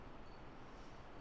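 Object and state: Nothing is struck.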